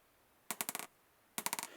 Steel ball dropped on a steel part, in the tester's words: Ça fait un bruit sourd, là.